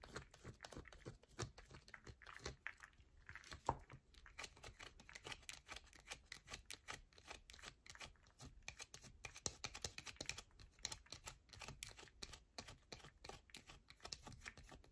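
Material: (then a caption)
Soap. A solid yellow bar of soap is scratched with the long nails of both hands, giving a rapid, continuous run of dry, short scratches and taps. The crisp, bright clicks follow one another with no pauses and barely any ring.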